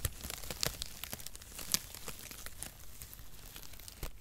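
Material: Cardboard.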